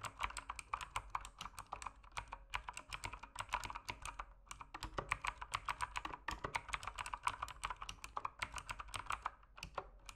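Fingertips type continuously on a backlit mechanical keyboard with plastic keycaps. They produce a rapid, steady stream of short, crisp clacks centered around 1.1 kHz with bright edges. Each keystroke dies away almost instantly over a faint low hum.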